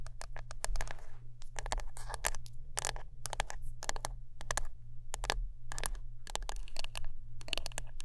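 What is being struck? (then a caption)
Wooden brush. Close-up tapping and scratching on a wooden brush, heard as quick bursts of dry, bright scratches and taps that come in rapid clusters over a steady low hum. Each hit is short, with almost no ring after it.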